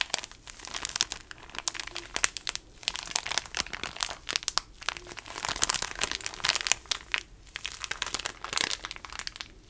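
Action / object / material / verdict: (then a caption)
scrape / plastic tissue packet wrapper / plastic / none. Fingers squeeze and crinkle the small patterned plastic wrapper of a pocket tissue pack. The result is a steady run of dense, bright crinkles and sharp crackles, with almost no low end and short bursts swelling and fading over about ten seconds.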